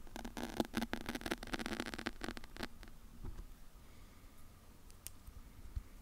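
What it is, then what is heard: Foam microphone windscreen being scratched. Long pale acrylic nails and fingertips of both hands scratch and rub a large, soft, porous, fist-sized black foam windscreen covering a microphone. Dense, crackly, rustling scratches fill the first few seconds, then give way to quieter, sparse rubbing with a few isolated soft taps and brushes.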